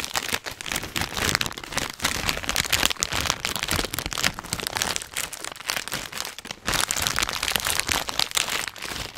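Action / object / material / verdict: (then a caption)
scrape / metallized plastic foil snack bag / plastic foil / none. A filled, hand-sized Hot Nuts snack bag of metallized plastic foil is crinkled and squeezed with the fingertips of both hands. It gives a steady stream of bright, crackling crinkles, strongest in the high frequencies, with dense rapid snaps that rise and fall in loudness over the nine seconds.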